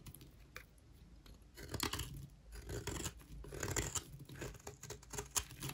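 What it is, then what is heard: Dry soap bar shaved with a knife. A metal knife blade repeatedly scrapes and shaves the corner of a solid, palm-sized rectangular bar of dry white soap held in one hand, curling off shavings that fall onto the table below. Dry, crunchy scratching comes in bursts of bright, gritty rasping over a low rumble, starting quietly and growing denser in the middle and near the end, with a sharp scrape just before it stops.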